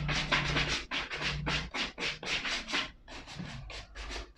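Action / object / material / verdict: scrape / suede leather ankle boot / suede leather / none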